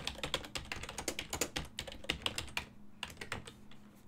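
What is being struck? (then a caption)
Plastic computer keyboard. Fingertips type quickly on a full-size black and silver plastic ergonomic desktop keyboard with hollow key switches, producing a rapid run of short, bright, clacky key taps that die away almost instantly. A brief pause interrupts the typing near the end, and a faint, steady low hum sits underneath throughout.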